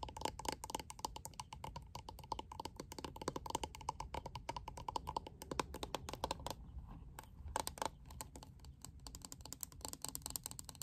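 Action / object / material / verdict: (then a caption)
tap / plastic paddle hairbrush / plastic / none. A lilac plastic paddle hairbrush with a clear liquid-glitter panel on its back is held in the hands and tapped quickly on the back with long acrylic nails. The result is a dense, steady stream of short, dry clicks with a faint ringing tone near 1 kHz, briefly thinning out around the seven-second mark before picking up again.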